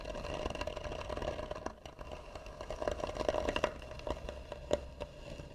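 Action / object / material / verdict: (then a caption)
scrape / carved wooden box / wood / none. Long nails scratch quickly across the lid of a hollow, tan carved wooden box. The result is a steady, dense rasping with a hollow, ringing tone around 600 Hz underneath, broken by several sharper, louder strokes.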